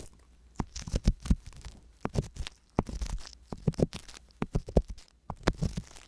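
A wooden ear pick with a metal tip, held by a hand with long yellow nails, scratches inside the canal of the left silicone ear on a binaural microphone. Close, bassy scraping and crunchy, crackling rubs come in quick bursts separated by brief quiet gaps, each scrape dying away almost instantly.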